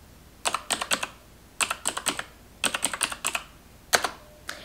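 Long nails type fast on the keys of a black plastic computer keyboard, giving about 22 sharp, bright plastic clicks in four quick bursts. The clicks are dry and die away almost at once, with quiet pauses between bursts.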